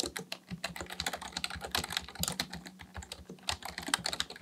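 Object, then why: Plastic computer keyboard. Both hands type continuously with their fingertips on a black plastic Dell full-size keyboard resting on a desk. A rapid, uneven stream of short, dry, bright plastic key taps and clacks, each dying away almost instantly, runs over a faint steady low hum.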